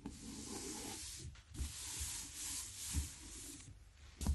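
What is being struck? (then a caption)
Paper pad with card cover. Fingertips and short nails tap and rub across the blue card cover of a large Fabriano 1264 watercolour paper pad, a solid stack of paper lying flat. Long, steady broadband scratchy rubbing strokes carry a bright hiss up high. Four soft, dull low taps stand out between the rubs.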